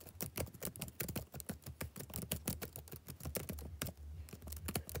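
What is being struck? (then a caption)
Plastic laptop keyboard. Fingertips type steadily on the black plastic keys of a backlit laptop keyboard. The result is a quick, continuous patter of short, crisp clicks over a low, steady hum.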